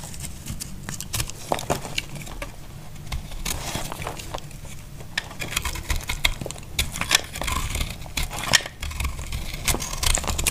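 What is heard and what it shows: A small knife cuts crumbly chunks off a solid, dry pink soap bar held in the hand. Many short, sharp, bright crackles and scrapes sound over a steady low rumble. Each crack dies away almost instantly.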